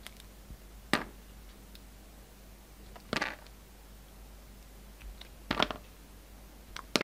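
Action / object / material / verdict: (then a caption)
scrape / bar of soap cut with a blade / soap / none. A solid pink soap bar, held in both hands, has thin slices cut off it with a yellow utility knife blade. Each cut is a short, crisp, bright scrape that stops quickly, separated by quiet pauses.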